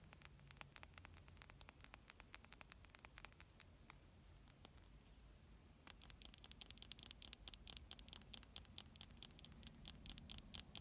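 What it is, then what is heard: Small glass jar tapped with fingernails. A small purple glass pigment jar, about the size of a nail-polish bottle, with a black plastic cap, is held in the hands and tapped and scratched with long painted nails. It makes quick, quiet, bright clicks and light scratches in an irregular patter. The taps thin out briefly in the middle, then return denser and slightly louder.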